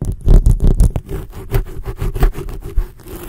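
Long blue acrylic nail tips scratch rapidly and roughly across a black foam microphone windscreen. The result is a deep, boomy series of scraping rubs, heavy in low rumble with almost no bright high end, swelling and fading irregularly throughout.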